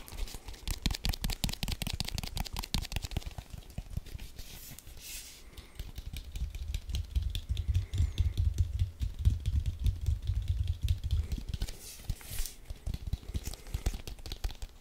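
A hollow, inflated brown leather American football with white laces is held in both hands and tapped and scratched with fingertips and nails. Rapid, irregular taps produce dull, low thumps around 82 Hz that die away almost instantly. Brief bursts of brighter scratching break through near the 5- and 12-second marks.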